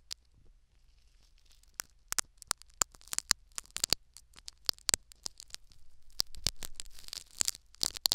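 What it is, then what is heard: Foam sponge scratched by needles. Syringe needles scratch and tear at a foam sponge plug set in the canal of a silicone ear microphone. The result is a run of sharp, bright, crackling clicks and tearing scrapes, mostly high in pitch with almost no ring. They grow denser and louder toward the end.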